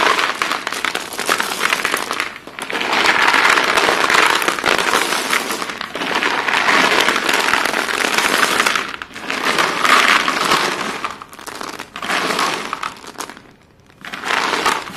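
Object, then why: Chalk sticks poured onto a heap. Solid white chalk sticks are poured from the hands onto a pile of white chalk pieces, then fingers rummage through the heap and grip pieces. This produces dense bursts of dry, bright clicking and crackling that come in waves separated by brief quieter gaps.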